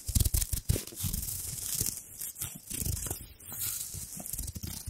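A small, crumpled gold embossed foil wrapper is held at the side of the mic while long nails and fingers rub and crinkle it. Dense, bright crackling and rustling rise over low thumping handling noise. The texture is continuous, with a louder burst of crinkles at the start.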